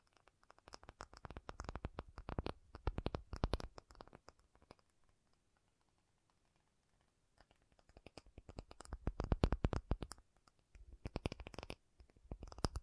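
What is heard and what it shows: An acrylic object is tapped in quick bursts of short, dull taps with almost no ring, most of the energy sitting low in the range. The tapping pauses in near silence for about two seconds midway, then resumes in denser, louder flurries.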